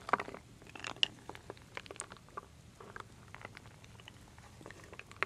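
A wooden spoon stirs solid wooden beads and acorn pieces in a full wooden bowl, giving a quiet, uneven stream of short, dry clicks and crunchy clatters. Brighter knocks stand out near the start and at the very end.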